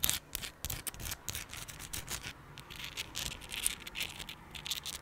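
Long pink acrylic nails scratch and rub a palm-sized chunk of raw, solid, translucent pink rose quartz with a rough surface. The result is a run of quick, dry, bright scratching and scraping strokes, high-pitched and hissy, with no ring after each stroke.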